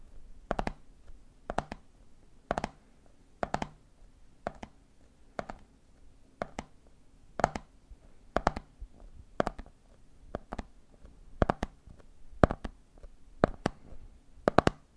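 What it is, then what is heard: Plastic jar of peanuts with plastic lid. Fingertips tap the red plastic lid of a medium clear plastic jar full of peanuts, then the hand taps the jar's side. Quick clusters of two or three short, dry clicks come about once a second, each with a soft low thump and a bright, brief tick that dies away at once.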